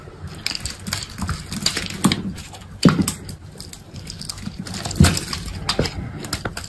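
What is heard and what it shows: A solid bar of dried soap, black embossed on top with a green body, is scraped and cut into cubes with an orange box cutter. Soft, dry scraping and crumbling fills the clip, broken by a few sharper crunching cuts that carry low thuds and bright, crackly edges.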